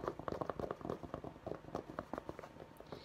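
Fingertips scratch along the stiff fabric crown and embroidery of a navy St. Louis Blues fitted baseball cap held in the hands. A rapid, uneven series of quiet, dry scratching ticks follows, each one short and clipped with no ring.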